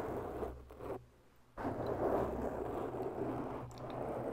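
Long bare natural nails scratch slowly along the sides of a soft, oval black foam windscreen on a microphone, making a dense, muffled rustling scrape centered in the low-mid range over a steady low hum. The scratching drops away to near silence for about half a second, then returns louder and continues steadily to the end.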